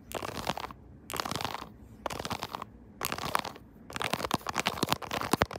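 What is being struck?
Silicone keyboard-style phone case tapped and scratched with nails.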